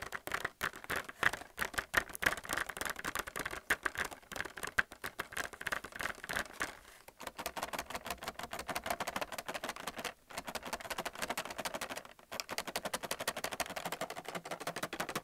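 Fingernails tap rapidly on the plastic wells of a white plastic paint palette with round wells, sealed in a clear plastic blister pack on a cardboard card. The result is a dense stream of dry, hollow plastic clicks and light rattling with almost no ring, broken by brief pauses around 7, 10 and 12 seconds.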